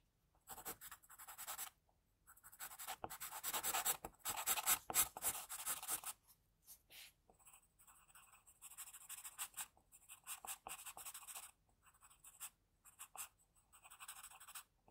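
An HB graphite pencil tip scratches lines of a face sketch on a flat, thin, solid sheet of white drawing paper resting on a desk. Quiet bursts of dry, bright scratching strokes come in quick, uneven runs, separated by short silent pauses, with almost no low end.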